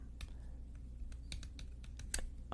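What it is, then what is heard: Handheld mirror. Light taps on a handheld mirror produce short, bright clicks at an uneven pace, each fading almost at once. The taps sit over a steady low hum.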